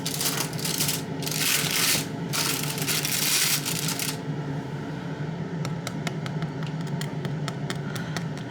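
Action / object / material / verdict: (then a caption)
tap / sourdough bagel / bread dough / underbaked. Fingers tap repeatedly on the bottoms of sourdough bagels that are still baking, checking whether they sound hollow. A burst of broadband rustling gives way to a run of light, sharp taps over a steady low hum. The taps do not yet sound quite hollow, so the bagels are slightly underbaked but not far off being done.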